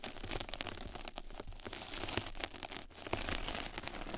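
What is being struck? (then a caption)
Knitted-mesh scrub sponge. Two mascara brushes scratch and brush across a flat yellow knitted-mesh scrub sponge pad held over the microphone, which is turned to show its other side. A dense, crinkly scratching texture runs throughout, with bright rasping bursts over a soft low rumble.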